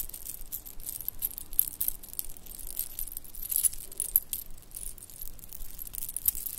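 A shell and bead bracelet is held up by one end and jiggled, so its shell chips and beads clink against each other. The result is a quiet, continuous patter of small, bright clicks and rattles with little low tone, with a few sharper clinks standing out.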